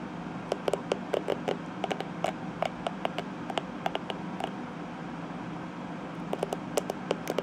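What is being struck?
Plastic hairbrush bristles.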